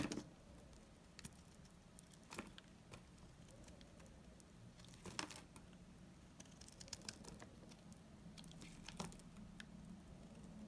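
A blade shaves brittle curls off the edge of a dry, solid amber-brown laundry soap bar. Quiet, irregular dry scraping and crinkly crackles are broken by sharp, bright snaps, with a low steady hum underneath.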